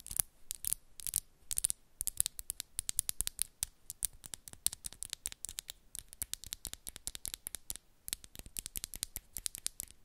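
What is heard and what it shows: Long pink and black acrylic press-on nails are pinched together at the tips of both hands, clicking and scratching against each other. A fast, uneven stream of sharp, bright clicks and short scratchy rasps runs throughout, each one dry with no ring. The sound is quiet overall, mostly high, with little low-end weight.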